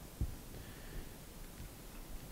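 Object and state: Nothing is struck.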